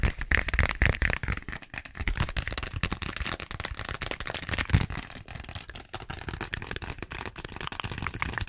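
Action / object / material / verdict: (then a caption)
scrape / vinyl zippered pouch / vinyl / none. Long nails rapidly tap and scratch a small pink glossy plastic (vinyl) zippered pouch with a flamingo print. A dense, continuous stream of crisp clicks and crinkly scratches runs throughout, with soft low thumps underneath and a bright crackly edge, briefly louder near the start and just before the five-second mark.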